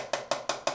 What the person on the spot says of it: if you tap it you could kind of hear how that sounds, kind of like more tinny high pitched